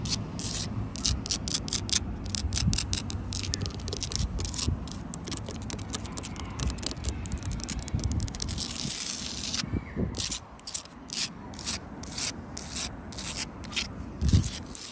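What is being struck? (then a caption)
Sandstone wall blocks with mortar joints. Long light-blue acrylic nails scratch across solid, rough sandstone blocks with mortar joints and dig into the crevices. The result is a dense, bright, raspy scraping over a steady low rumble. It breaks into separate quick strokes after a brief lull near ten seconds, ending with a louder knock near the end.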